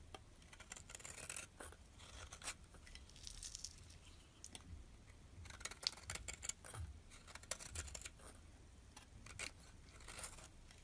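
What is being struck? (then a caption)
Bar of soap scraped with a metal blade. A solid dark purple soap bar, held in the hand, is scraped with a metal utility blade, peeling off purple shavings. Quiet, bright, dry scraping strokes come in short bursts and longer runs over a faint low rumble.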